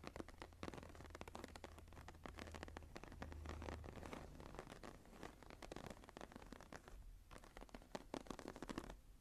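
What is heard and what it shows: Long nails of both hands scratch the upper part of the textured cover of a closed, embossed leather journal lying flat. The sound is a dense, continuous run of dry, crackly scratching strokes with a low hum underneath.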